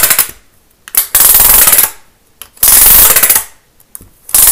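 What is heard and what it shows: A thin green plastic studded Lego baseplate is held up and scratched quickly and hard across its studs with a pen-like tool. Short rattling scrapes give way to two long, loud bursts of bright, buzzy clicking, each stopping in near silence. A final burst starts at the end.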